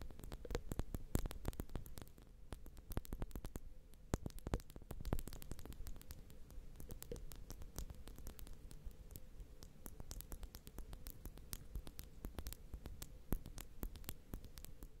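Long nails on both hands tap and scratch the ridged metal rings of two small X/Y microphone capsules on a Zoom H6. A steady stream of dense, quick clicks and scratchy patter sits over a deep, booming low rumble and a faint hum. The sound is close and soft, and each tap dies away at once.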